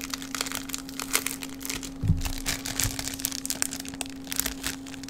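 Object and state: Crinkled plastic bag.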